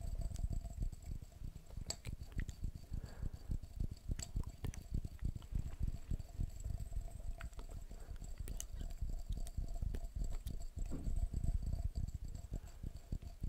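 A glass jar is tapped quickly and continuously, making a dense run of short, dull taps. Most of the energy sits in the low end, and each tap dies away almost instantly. Faint steady high tones run underneath.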